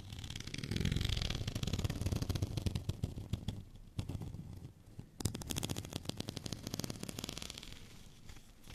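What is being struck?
Studded plastic rolling pin.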